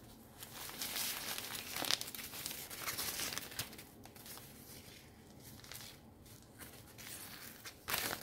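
Fingertips with long painted nails crumple and rub a loose, hollow silver nylon umbrella canopy with a white eBay print, held in both hands. It gives a steady, bright crinkling with scattered sharp rustling peaks, louder near the start and again at the very end.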